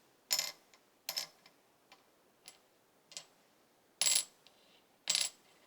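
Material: Synthetic plastic.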